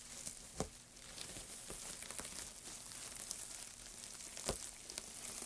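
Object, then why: Loose heap of thin wood shavings. White-gloved hands squeeze and rub a loose heap of thin, light wood shavings, producing a steady, bright, dry crinkling rustle. Sharper crackles break through the rustle at several moments, each fading almost at once.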